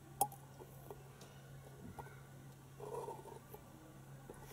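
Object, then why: Hollow plastic toy egg. Long painted fingernails tap a hand-sized hollow plastic penguin egg toy, lit from inside, standing on a carpet. One sharp, bright click with a brief hollow ring near 820 Hz comes first, followed by quieter scattered taps and soft scratchy rustling over a steady low hum.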